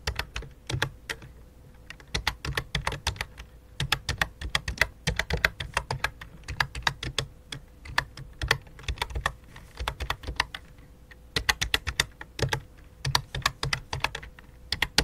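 Both hands type rapidly on a full-size white and light-blue plastic computer keyboard resting on black cloth, striking the keys with fingertips and long dark nails. Dense bursts of sharp, bright clicks with soft low thuds beneath them come in uneven runs with brief pauses. A faint steady hum sits underneath throughout.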